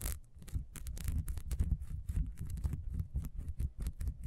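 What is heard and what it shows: Long nails scratch rapidly along the grooves of a solid, ribbed, beehive-shaped beeswax candle, first standing on a table and then held. The result is a quick, dense stream of short, dry scratches with a low, soft thumping body and bright, crackly bursts on top.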